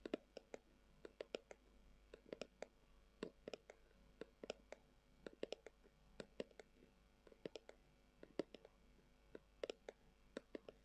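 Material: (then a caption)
Leather. Long acrylic nails tap and scratch the surface of a hollow, brown, textured leather-covered tubular glasses case. About 40 quiet, sharp clicks come in uneven bursts, each with a hollow midrange knock that dies away almost at once, over a faint, steady hiss.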